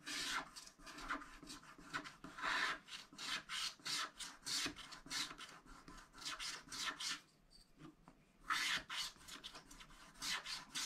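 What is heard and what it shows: A wooden stylus scratches large areas of black wax coating off a thin scratch-art pad page lying flat on a table, revealing blue sky beneath. Continuous, bright, raspy scratching strokes follow one another in a steady rhythm, with a brief quieter pause near the end before the scratching resumes.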